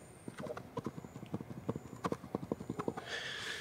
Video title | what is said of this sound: When Is My Avocado Ready To Eat? | The seed is loose inside of this Choquette avocado. It's not ready to eat.